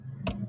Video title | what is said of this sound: Inilah yang Berubah di All New Subaru Forester 2025 - Review - Garduoto | kalau kita ketok ini kayak suara plastik ya, tapi ini ada jahitannya dan emang beneran ini material yang empuk gitu